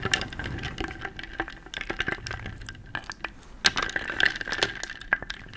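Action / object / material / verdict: scrape / wooden beads in a wooden bowl / wood / none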